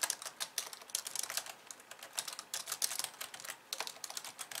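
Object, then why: Plastic computer keyboard. Both hands with long painted nails type and tap on the white keys of a hollow, pink-framed plastic computer keyboard resting on a wooden desk. The result is a quick, uneven stream of short, dry, bright clicks and clacks with almost no low end, each tap dying away instantly.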